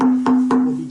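Repeated taps on the wooden top of a flamenco guitar bring out its tap tone. Each tap gives a short knock followed by a steady, ringing resonance around 250 Hz that sustains between taps and slowly fades.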